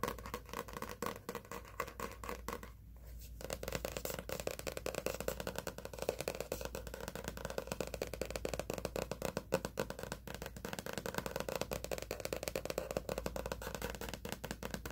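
A hardcover workout journal with a laminated cardboard cover and wire spiral lies flat while its cover is tapped rapidly with fingernails. The result is a dense run of short, dry clicks centered in the midrange, around 530 Hz, with a brief pause near the three-second mark. A faint steady low hum sits underneath throughout.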